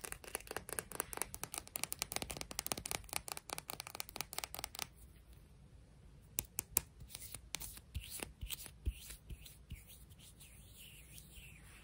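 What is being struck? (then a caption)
Beach rock, stone. A sea rock from the beach is tapped and scratched. For the first five seconds, a dense run of quick, crisp taps and scratchy strokes is heard. It then falls quieter, with a few sharp, bright clicks standing out over soft, light scraping.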